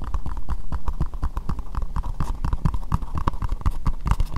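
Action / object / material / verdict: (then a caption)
tap / empty plastic bowl / plastic / none. Long nails tap rapidly on an empty, hollow, translucent pink plastic bowl. The dense stream of short, dull clicks has a deep thump underneath and a hollow plastic ring around 1 kHz, with each tap dying away almost at once.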